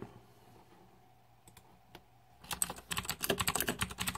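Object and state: Plastic mechanical keyboard.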